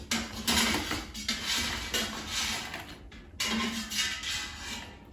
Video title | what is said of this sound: Air Fryer Frozen Breaded Mushrooms | take them out of the air fryer. Hear how crispy they are?